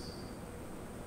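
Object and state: Nothing is struck.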